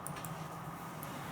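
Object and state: Nothing is struck.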